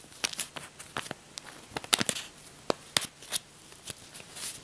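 A thick stack of US paper dollar bills held in the hands has its edges riffled and flipped with the fingertips and long nails, like shuffling cards, above a pile of bills lying on a bedspread. The result is a quick, uneven string of sharp, dry paper snaps and crinkles that sound bright and crisp, with almost no low end. Each flick dies away at once, with only a faint soft hiss between them.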